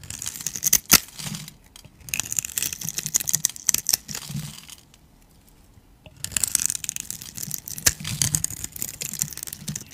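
A metal utility blade carves into the scored surface of a solid, rounded, palm-sized cream bar soap held in the hand, shaving off small soap cubes. Bright, crisp scraping and crackling come in dense bursts with sharp snaps, then pause briefly before the carving resumes.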